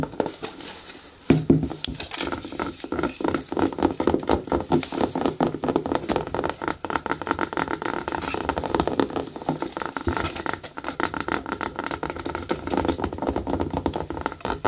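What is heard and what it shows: Fingertips and long nails tap and scratch the shaft of a single black natural rubber boot, hollow and empty, standing on a table with a paper tag hanging from it. After a quiet opening second, a dense run of quick, dull taps and scratchy rubs follows with a hollow mid-range body. Each hit dies away almost at once.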